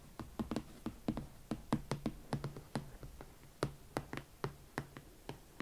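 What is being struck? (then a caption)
Leather ankle boot with platform sole. Long nails tap and scratch the side of the leather upper and the platform edge of a single empty, hollow hot pink leather Valentino Club Platform Chelsea ankle boot. The result is a steady run of quick, dull knocks with a low, slightly hollow body that die away almost at once, with faint scratching between them.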